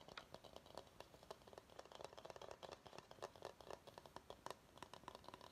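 A large, hollow, empty bamboo salad bowl is held upside down while short nails tap and scratch its underside and sides. A quiet, rapid series of dry, short taps with a hollow mid-range ring around 1 kHz mixes with soft scratching, each tap dying away almost instantly.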